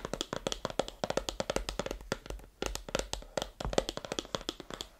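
Long manicured nails tap and scratch the printed face of a small, closed, white rigid cardboard iPhone 15 Pro box, apparently with the phone inside, held in both hands over a grey carpet. About 35 quick, dry, hollow clicks land in uneven bursts, each with a mid-toned knock near 535 Hz, a bright papery edge and almost no ring.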